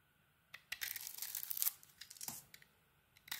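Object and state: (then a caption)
Bar of soap being carved. A utility blade carves a solid orange soap bar with a red glitter coating, held in the hand, shaving off chips. Crisp, bright scraping and crackling strokes come in quiet bursts, with a long shaving stroke in the middle and short sharp scrapes after.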